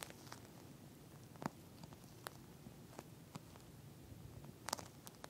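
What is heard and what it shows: Long nails on both hands scratch and tap a pink, flat eye mask with a clear plastic shell filled with small gel beads. A soft, low, crackly rustle runs under about ten sharp, bright tapping clicks that stand apart and stop almost instantly.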